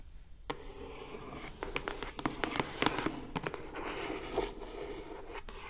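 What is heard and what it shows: Long acrylic nails rub and scratch the lid of a closed lilac glossy-coated cardboard gift box. A steady papery rubbing is broken by a cluster of sharp, bright scratches and clicks through the middle of the clip, then settles back into softer rubbing.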